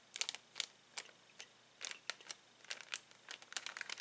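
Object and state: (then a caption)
Plastic bag of uninflated balloons. Fingertips rub the cardboard header and press a clear plastic bag full of uninflated latex balloons. Bright, crisp crinkles and crackles come in quick, irregular bursts, with almost nothing in the low end. Each crackle dies away almost instantly, with brief quiet gaps between them.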